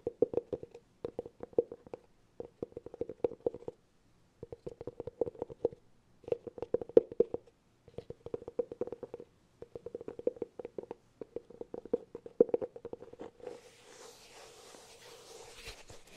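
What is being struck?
Cork cylinder container.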